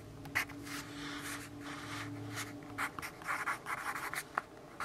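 A yellow graphite pencil writes on a lined paper notepad resting on a wooden desk, making dry scratching and rubbing strokes with bright, papery texture. The strokes come in short bursts that grow choppier toward the end, over a faint steady low hum in the first few seconds.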